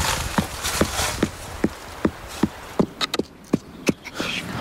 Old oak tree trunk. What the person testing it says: Das klingt hohl. Das heißt, er ist nicht wirklich hohl, sondern eben angefüllt mit solchem Mulm. Außenrum ein fester Holzkörper.